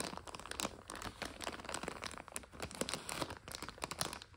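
Long nails scratch and tap a full 400 g plastic egg noodle bag lying on a couch. Dense, bright crinkling comes in quick bursts, with sharper ticks from the nails over the rustling plastic.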